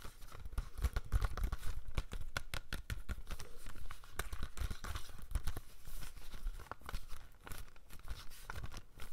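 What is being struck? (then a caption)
Plastic DVD case with sleeve. A hollow plastic DVD case from the Friday collection, with a sleeve, is held in both hands and tapped and scratched on its front cover with fingernails. The result is a dense run of quick, dry clicks and rough scratching with crinkly, tearing-like rustles. The clicks are heavy in the low end and die away almost instantly.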